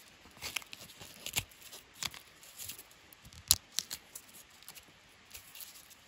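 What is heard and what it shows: Fingertips and nails scratch and peel loose bark strips from a long, solid, smooth wooden walking stick. Quiet, bright, crackly tearing and crinkling bursts come in uneven clusters, with almost no low end. Each crisp snap stops short with no ring.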